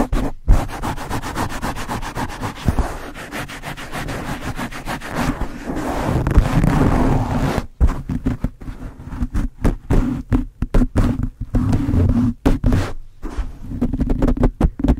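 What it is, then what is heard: Foam microphone windscreen being scratched. Fingertips with blue nails scratch and rub the top and sides of a black foam windscreen on a Blue Yeti microphone. The sound is a deep, muffled rumbling scrape that is mostly low with little brightness. It runs as a steady rubbing for about the first half, then breaks into choppy, stop-start bursts of scratching.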